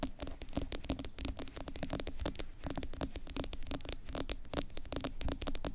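Long acrylic nails rapidly tap and scratch the sides of a medium yellow plastic Tree Hut pineapple scrub jar with an orange plastic lid, which appears full and is held in both hands. The result is a dense stream of sharp, bright plastic clicks mixed with dry scratching, each tap dying away almost instantly.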